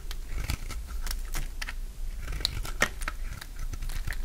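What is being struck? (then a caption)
Bar of soap shaved with a blade. A solid bar of dry pink soap is held in the hand while its face and edges are shaved with a utility knife blade. Rapid, dry scraping and cutting strokes make crisp, crunchy clicks and bright scratchy bursts over a steady low rumble.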